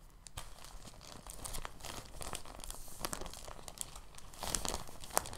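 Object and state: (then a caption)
Soft plastic bag crinkling. A thin, translucent, empty plastic bag is stretched, folded and crinkled with both hands. It makes soft, continuous crinkling and rustling with scattered bright crackles, growing slightly louder near the end with a few sharper snaps.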